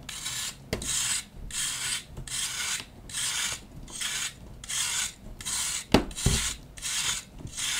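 A knife blade scrapes and shaves a hand-sized solid disc of compressed pale green powder, baking soda or gym chalk, held in the palm over a dark bowl. It makes a series of bright, raspy scraping strokes with short pauses between them and a few sharp clicks. The block crumbles into powder.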